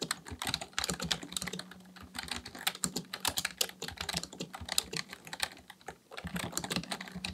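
Fingertips of both hands type continuously on a black plastic full-size membrane keyboard, a Dell KB1421 with a hollow housing, resting on a desk, pressing and tapping the keys. A rapid stream of short, bright, clattery taps with quick, dry decay comes over a faint low hum, easing briefly around the six-second mark before the typing picks back up.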